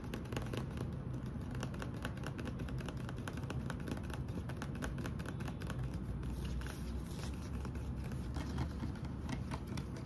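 A hand-sized, hollow green plastic Vaseline lotion bottle, fill level not visible, is held in both hands and tapped with the fingertips and short nails. The result is a steady, rapid stream of soft, clicky taps over a low, hollow body tone that stays at an even, quiet level throughout.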